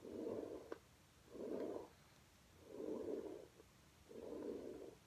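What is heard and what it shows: A plastic paddle hairbrush, held in a hand with painted nails, is brushed in strokes across a flat red low-pile fabric rug lying on the floor. Four soft, breathy scraping strokes are heard, each a muffled mid-range swish separated by brief quiet gaps, with a faint tick during the first stroke.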